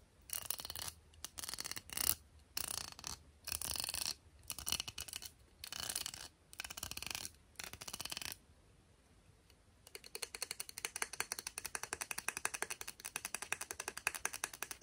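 Long painted nails scratch and pluck the teal-tipped bristles of a black and teal plastic round hairbrush as it is turned in the hands. Bursts of bright, hissy scratching come and go for about eight seconds, then fall silent briefly. After that comes a steady run of rapid, crisp plucking ticks that lasts to the end.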